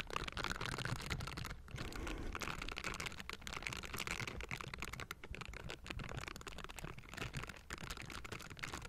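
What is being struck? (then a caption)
Metal mesh microphone grille. Gloved fingers fitted with silicone bristles rub and scratch the metal mesh grille of a Blue Yeti microphone. The result is a dense, continuous crackling texture of short, dry scrapes and ticks, full of low rumble with bright, hissy edges.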